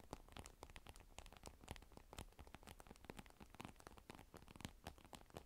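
Long pointed nails tap and click rapidly across the black glass screen of a large, thin tablet with a silver aluminum rim, lying face up on dark fur. The quick, irregular run of sharp, bright clicks and light scratches plays over a soft low rumble, with an added echo effect smearing each tap.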